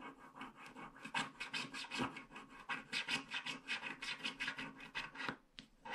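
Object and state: Scratch-art card scraped with a stylus.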